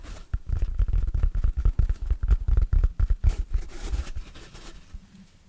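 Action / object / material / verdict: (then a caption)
scrape / synthetic foam sponge / synthetic foam / none. Fingertips and nails scratch and squeeze the surface of a large, oval, yellow, hard synthetic foam sponge with big pores, stiff, solid and dry, held in the hands. Rapid, uneven bursts of dry scratching and crackling sit over deep, muffled thumps, then grow quieter and fade out near the end.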